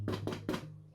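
Three woody, hollow, crisp taps on a damper (bush bread with onion weed) cooked in a pan, checking whether it is done, over a steady low music tone. The hollow sound shows the damper is cooked through.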